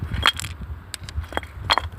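A river stone found while stone hunting, bluestone rather than jade, is struck several times, giving short, bright, clinking taps with a tonal edge near 1.3 kHz over a low background rumble. Its clear stone sound is judged very good, the kind that marks a stone as precious.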